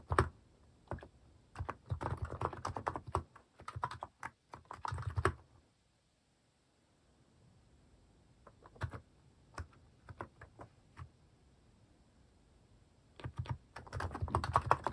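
A white-case mechanical keyboard with pastel plastic cat-shaped keycaps is typed on with fingertips. Bursts of soft, clacky keystrokes come in quick runs, then stop for a quiet pause around the middle. Scattered single presses follow before dense typing returns at the end.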